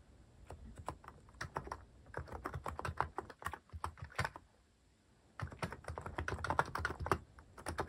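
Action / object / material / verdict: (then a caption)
tap / plastic-case mechanical keyboard / plastic / none. Fingertips type repeatedly on a cream plastic-case mechanical keyboard fitted with cat and paw-shaped plastic keycaps. Quick, clacky keystrokes come in bursts, with a brief pause around the fifth second before the typing resumes.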